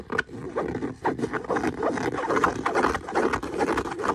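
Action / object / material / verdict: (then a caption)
scrape / leather boot / leather / none. Fingernails scratch and scrape across the smooth surface of the same brown leather boot. The result is a steady run of dry, raspy scratching strokes that swell and fade in quick, uneven bursts, centred in the midrange around 1 kHz with little low rumble.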